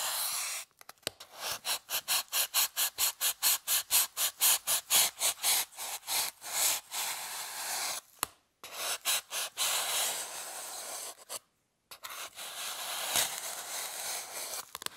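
A small pointed metal tool scratches and scores the surface of a partly broken, rectangular solid white styrofoam block held by hand on a table. A fast, rhythmic series of short, bright, hissy strokes runs for about eight seconds, then gives way to longer, steadier scraping with brief pauses. The sound is dry and rasping, with almost no low end.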